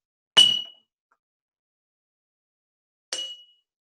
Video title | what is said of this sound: First Steps Science: Fill and Pour, Measure and More! Make a Water Xylophone | had more of a ringing quality to it there's a little louder